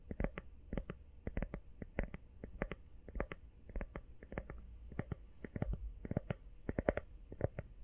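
A teal rubber iPhone case, empty and hollow-backed, is tapped quickly with fingertips and nails. The result is a fast, irregular run of soft, dull, short taps with a low, muffled body and a faint hollow tone.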